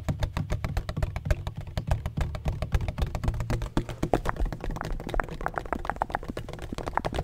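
Fingertips rapidly tap and scratch a large, black, donut-shaped hollow plastic bottle with a textured surface and a red cap. The steady stream of short, dry taps is irregular and about four per second. They land as dull, hollow thuds with a body around 700 Hz, mixed with faint scratchy brushing and no ringing after each hit.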